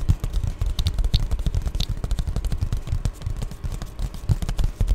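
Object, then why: Padded plastic bubble mailer. Long glittery nails tap and scratch an Amazon Prime padded poly bubble mailer up close. The result is a steady run of quick, soft, dull thumps and scuffs that are mostly low, with occasional brighter crinkly flicks of the plastic surface.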